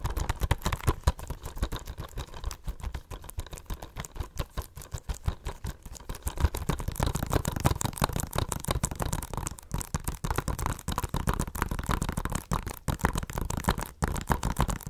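Long nails tap fast on a blue plastic Blu-ray case with a cardboard slipcover, held in the hands. The result is a dense, rapid stream of short, dull clicks that die away almost instantly, with most of the energy in a low thump and little high-end sparkle.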